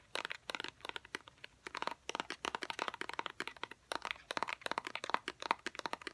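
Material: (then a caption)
Cardboard. A small, hollow white cardboard fidget cube box is held in both hands and tapped with fingernails. The result is a rapid, irregular series of short, dry clicks and crinkly taps with a faint tonal ring near 950 Hz and no low end.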